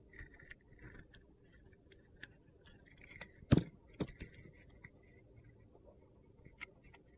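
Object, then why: Bar of soap with a glitter coating, shaved with a metal blade. A metal utility knife blade shaves curls off the dark green glitter coating of a hand-sized solid orange soap bar held in a hand. A series of short, crisp scraping and cutting strokes sounds over a quiet background, with the loudest cuts around the middle.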